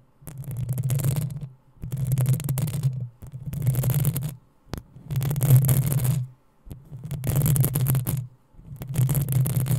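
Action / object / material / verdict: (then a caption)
scrape / metal mesh microphone grille / metal mesh / none. Long nails scratch the hollow metal mesh grille of a black desktop microphone in six slow passes, each a couple of seconds long and separated by short silences. Each pass is a heavy, low, rumbling rasp with a thin bright hiss over it, and the whole run stays steady in loudness.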